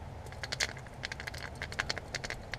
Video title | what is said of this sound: Fish discussion,Cooking, GRAPHIC CLEANING | if you shake it and it rattles that means you're blessed it's rattling